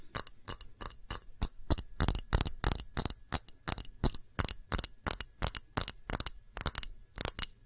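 An empty small round clear glass dish with glass bead feet is tapped with long nails on the rim and underside. It gives a quick, uneven series of bright, high, glassy clinks with almost no ring after each tap.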